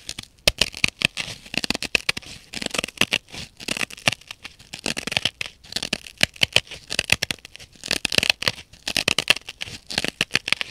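Long nails scratch back and forth over the rough blue nylon scouring face of a dry, solid, rectangular synthetic kitchen sponge. The result is a dense run of quick, bright, raspy scrapes that come in bursts with short gaps, mostly high in pitch with almost no low end.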